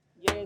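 A single tap on a used car's steel body panel produces a sharp knock followed by a short ring with a clear tone around 400 Hz and a bright edge that fades over the next fraction of a second. The panel rings rather than sounding thick and dull, indicating an original panel with no body filler inside.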